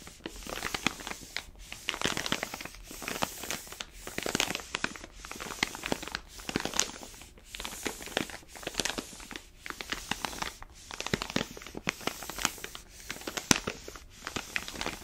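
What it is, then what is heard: Paper-foil coffee bean bag. An orange paper-foil coffee bag full of beans lies on its side while a flat palm rubs and presses the paper. The result is dense, bright crinkling and crunching in repeated swells, with short sharp crackles inside each pass and little low end.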